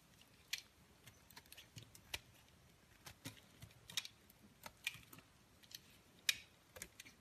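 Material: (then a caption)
Soap. A palm-sized, solid beige soap bar held in white-gloved hands is carved with a utility knife blade that scrapes off thin shavings. About fourteen quiet, sharp, bright scraping clicks sound at uneven intervals, each dying away almost instantly, with little low end beneath them.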